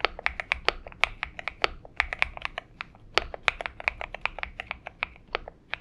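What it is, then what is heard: Mechanical keyboard with PBT keycaps. Fingertip typing with both hands on a purple Xinmeng M71 mechanical keyboard with PBT keycaps, giving a steady run of short, bright, dry clicks that stop almost instantly. The keystrokes come at an uneven typing pace, centered around 2.3 kHz, with very little low end.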